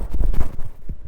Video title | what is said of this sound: The Best Value Hotel in Pattaya, Thailand | you can hear me knocking on it. It's not some kind of cheap wood.